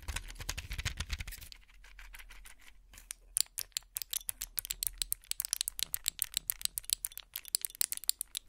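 A plastic and foil pill blister pack is handled close up, first rattled and shaken in a dense burst of bright clicks over a low rumble. After a brief quieter stretch, fingernails tap the bubbles in dozens of sharp, bright, dry ticks with almost no ring.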